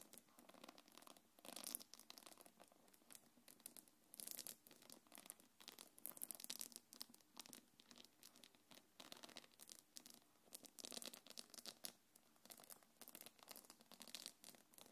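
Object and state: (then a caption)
Quilted faux-leather belt bag with metal chain. Long nails scratch along the gold metal chains and the leather near the zipper of a small black quilted faux-leather belt bag. The result is a quiet, continuous run of bright, dry scratching and faint chain rattle, coming in uneven bursts with almost no low end.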